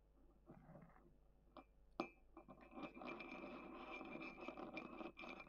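A thin wooden stick scratches the inner wall of a small, hollow, dark grey matte ceramic mug with a handle, held on a table. Soft, gritty scraping starts quietly with a few sharp clicks, then becomes a denser, steadier rasping scratch with a faint ceramic ring.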